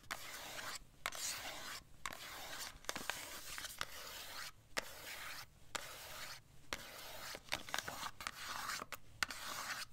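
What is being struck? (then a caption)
Small cardboard box. Long acrylic nails tap and scratch along the sides of a small, slim, dark purple printed cardboard eye-product box, held closed in one hand. Bursts of dry, bright, hissy scratching alternate with brief silent pauses, punctuated by sharp, quick taps that die away instantly.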